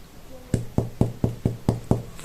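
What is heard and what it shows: A round whole-wheat sourdough loaf, just out of the oven after baking for an hour at 200°C, is knocked on seven times. Each knock gives a short, dull, low thud with a hollow tone. The hollow sound shows the bread is baked through.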